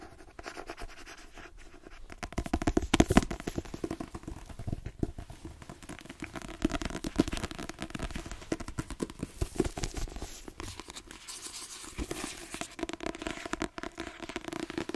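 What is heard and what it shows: A solid paperback book with a card cover, the same Queenie paperback, is held in the hand while a fingernail taps and scratches across its cover. Dense, dry, rapid clicks and rasping scratches come with no ringing, with a low-mid body and a faint steady tone near 324 Hz. The texture stays busy and close throughout, swelling briefly louder around the three-second mark.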